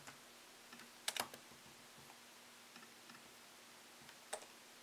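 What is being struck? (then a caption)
Laptop keyboard, plastic keys in aluminium body. Fingertips slowly tap the plastic keycaps of a MacBook Pro laptop keyboard set in an aluminium body. Sparse, quiet, bright clicks come at uneven intervals, with a tight cluster of louder taps just after the first second and another sharp tap near the end. Each click dies away almost instantly over a faint steady hum.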